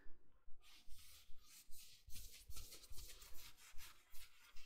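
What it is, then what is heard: Plush fleece bathrobe being scratched. Fingertips and nails scratch and rub the sleeve and front of a worn navy, soft plush fleece bathrobe. The result is a quiet, steady rhythm of breathy, bright scratchy strokes, about two to three per second, each with a soft, muffled low thump underneath.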